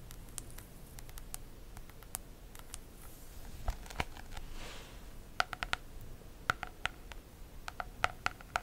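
Long acrylic nails scratch and tap the textured, embossed holographic plastic cover of an A5 notebook. Soft, steady scratching runs underneath a scattered series of sharp, very short clicks, some carrying a faint ring around 1.4 kHz with bright high edges.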